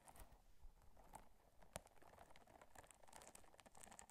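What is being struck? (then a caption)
Soft silicone scrubber. Long nails scratch and rub the bumpy surface of a small, pink, textured, soft silicone or rubber scrubber, solid and flexible, held in one hand close to the microphone. The result is a quiet, steady patter of dry, crinkly scratching with bright clicking detail and a low, muffled rumble underneath. One sharper click stands out near the middle of the clip.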